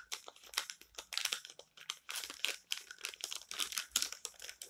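Fingers crumple the corner of a page of an open paper magazine lying on a table, then turn and flatten its pages with the palms and fingertips. The result is a quiet, bright, dense run of dry crinkles, crisp rustles and short papery scrapes with almost no low end.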